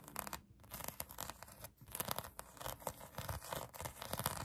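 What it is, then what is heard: Foam squishy toy being scratched. Long acrylic nails scratch a pink polyurethane foam donut squishy toy. Rapid, dry scratching strokes come in quick uneven bursts, with a bright, rasping texture and a soft low rub underneath.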